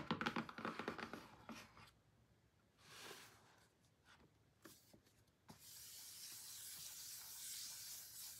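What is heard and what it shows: Short painted nails and fingertips tap and scratch a closed, hollow, medium-sized pink cardboard album box (BLACKPINK THE ALBUM). Quick, uneven taps open the clip, followed by a soft brushing swish and a few sharp ticks. It ends in a steady, bright scratching hiss across the cardboard surface.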